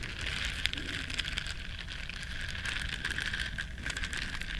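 Long nails scratch and rub the soft bristles of a small, flat, solid yellow silicone body scrubber shaped like a duck. The result is a steady, dense crackling scratch with a bright hiss centered around 1.5–3.5 kHz, a few sharper clicks, and a faint low rumble underneath.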